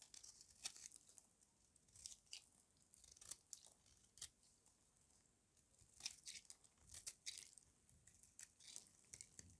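A solid white, hand-sized rectangular bar of dry soap is held in one hand and shaved and scraped with a metal utility-knife blade, shedding powder and flakes. The result is a quiet series of dry, bright, crackly scraping and tearing bursts, some short and some drawn out, with almost no low end and brief pauses between strokes.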